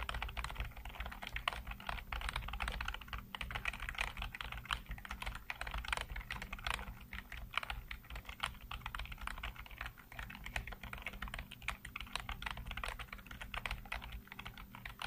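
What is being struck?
Plastic computer keyboard.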